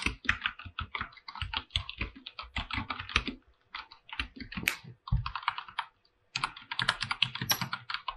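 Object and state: Mechanical keyboard being typed on.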